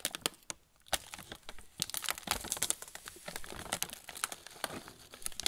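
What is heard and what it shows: A sealed, full plastic-film pretzel bag is held in both hands while fingertips rub and press its surface. It makes dense, bright crinkling with many sharp, quick crackles and a brief quiet pause near the start.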